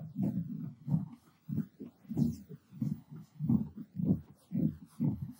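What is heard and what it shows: Fingertips and short nails on both hands scratch and rub the looped pile of a purple textured cotton terry towel draped over a padded object. The result is a series of soft, muffled, low-pitched rubbing bursts at an uneven rhythm, with short gaps between strokes.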